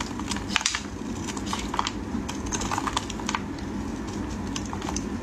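A utility knife blade shaves a solid, dry green bar of soap into thin strips, giving a run of crisp, bright scraping crackles and clicks. The short, dry bursts stop instantly with no ring, over a steady low rumble.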